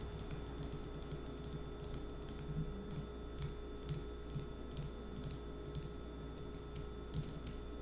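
Long acrylic nails tap a small dark green glass nail polish bottle with a black cap, held in the hand. Quick, light, clicky taps come in an irregular rhythm over a steady low hum, each one short and bright with little ring.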